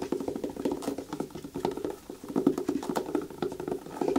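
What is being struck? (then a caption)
Rubber boot sole. Long fingernails scratch and rub the thick treaded sole of a black rubber rain boot held in the hands, then grip its shaft. The result is a dense, quick, dry patter of short scratchy strokes centered in the low midrange, with little bass or treble.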